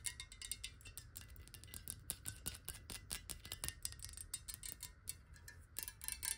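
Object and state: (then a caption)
Glass water bottle. A clear, hollow glass water bottle, partly filled with water and held in the hand, is tapped quickly with long nails. The result is a rapid stream of sharp, bright clicks with a faint glassy ring that fades almost at once, over a soft low rumble.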